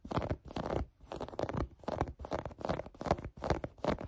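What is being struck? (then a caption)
Cotton knit sweatshirt fabric. Long painted nails scratch a folded maroon cotton knit sweatshirt held on a table. Quiet, dry scratching comes in repeated bursts at a loose, uneven rhythm, each with a soft, muffled, low-mid texture and almost no bright edge.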